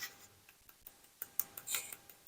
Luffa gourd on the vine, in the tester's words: you tap it sounds Hollow